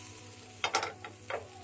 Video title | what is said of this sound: आज बनवलं कुरकुरीत बोंबील फ्राय + मालवणी कोळंबी रस्सा - VLOG04 - Happy Souls 29 - #kokan #malvani | crispy झालेला आहे बघा आवाज येतोय मस्त